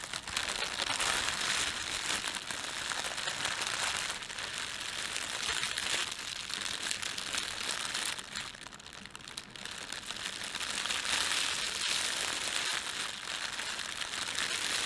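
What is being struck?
Thin plastic bread bag.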